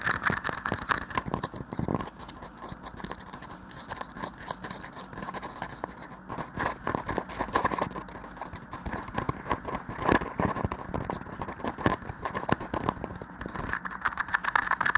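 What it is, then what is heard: Plastic shot cup. A small, hollow, empty red plastic shot cup with a white interior is held over a microphone and tapped rapidly by fingertips and nails. The result is a dense, steady stream of short, dry clicks and scratchy scrapes with a hollow resonance near 1.7 kHz and bright, crisp edges.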